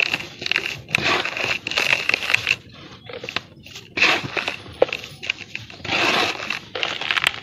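Bare hands with painted fingernails squeeze and crumble dry, dusty sand-and-cement lumps in a large round basin, so powder falls and dust rises. Bursts of bright, gritty crunching and crackling come in waves with quieter sifting patches between them, and there is almost no low end.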